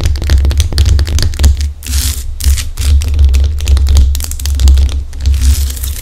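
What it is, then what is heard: Himalayan salt lamp. Long acrylic nails on both hands scratch and tap the rough top of a large, solid pink Himalayan rock-salt lamp. Rapid dry clicks and bright, gritty scrapes layer over a steady low hum that dominates the sound.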